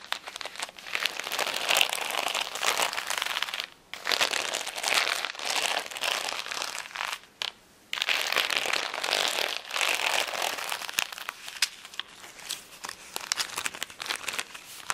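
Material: Acrylic plastic.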